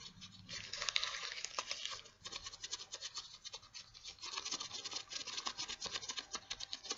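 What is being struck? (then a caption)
Latex gloves. White latex gloves worn on both hands are held up close while the gloved fingers and palms rub and squeak against each other. A dense, bright scratchy rubbing fills the first two seconds, followed by a quick, rhythmic run of short squeaky strokes with almost no low end.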